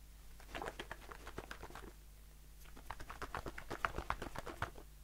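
A blue aluminium shaving foam aerosol can with a plastic cap, held in the hand, is tapped rapidly with the fingertips and short nails. It makes quick, dry, uneven taps with a faint hollow metallic ring, in two bursts separated by a quieter pause. A steady low hum runs underneath.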